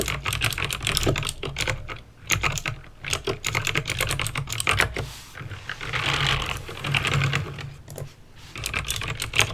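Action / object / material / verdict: tap / plastic mechanical keyboard / plastic / none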